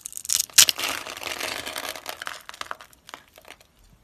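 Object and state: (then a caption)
Dry soap bar. A utility knife blade scrapes and cuts across the pre-scored surface of a solid, palm-sized pink dry soap bar held in a hand with long white nails, chipping off small cubes. Bright, crisp crunching and dry scraping build to a sharp crack early on, then settle into a steady gritty scrape that breaks into scattered small ticks and crumbles as it fades.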